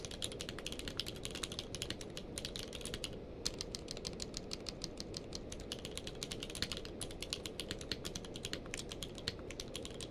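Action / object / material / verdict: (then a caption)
tap / plastic mechanical keyboard / plastic / none. Both hands type rapidly with their fingertips on a full-size mechanical keyboard with a blue-grey case and white and grey plastic keycaps, lying on a blanket. A steady stream of short, bright plastic clicks sits over a soft low rumble, with a brief pause a little past three seconds before the typing resumes.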